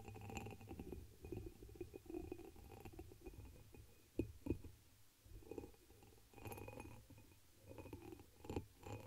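Long nails tap and scratch the surface of a hollow, empty, dark amber embossed glass chalice turned upside down over the microphone. Soft, muffled clinks and scraping sit over a low, boomy rumble, with brief brighter ticks. Each clink fades almost at once, with a faint tone near 330 Hz.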